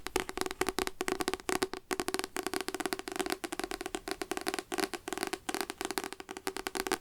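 Continuous rapid fingertip tapping on a paper devotional book, *Light to My Path*, with many quick, dry, papery taps in an uneven rhythm. The taps are crisp and short with almost no ring, a hollow mid tone around 370 Hz, and bright clicky edges.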